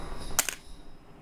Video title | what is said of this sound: DASAR SENI MUSIK - PODCAST GURU SENI - UNSUR MUSIK #VISUALAUDIO #PAKRAMA | bunyi pensil yang saya jatuhkan